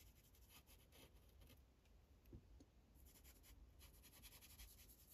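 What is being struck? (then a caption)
Paper sheet on a plastic clipboard. A magenta Sharpie felt tip colors in a thin white coloring page resting on a plastic clipboard, using repeated rubbing strokes. The soft, bright scratching comes in quick bursts over a steady low hum, with one slightly louder tap partway through.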